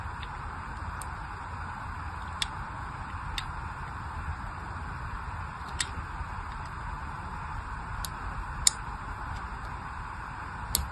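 An unwrapped, solid rectangular bar of pink-and-white striped soap is held in one hand while the tip of a small black craft knife scores and scratches its surface. Six fine, crisp, bright ticking cuts stand out sharply and die away almost instantly over a steady soft hiss and low rumble.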